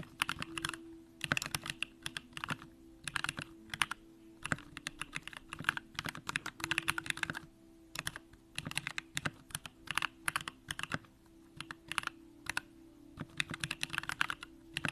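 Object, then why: Mechanical keyboard with aluminum case and plastic keycaps. A compact Bakeneko65 mechanical keyboard with an aluminum case, Durock lavender switches and pink plastic keycaps is typed on continuously with the fingertips of both hands. Rapid, bright, short clacks come in uneven bursts with brief pauses, over a faint steady low hum.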